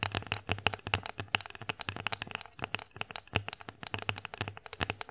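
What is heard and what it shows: Long acrylic nails tap rapidly across the surface of an empty wooden bear-face plate held upright. The result is a dense run of dry, bright clicks that stop almost instantly, with a tonal edge near 2.6 kHz and a faint low thump beneath some strikes.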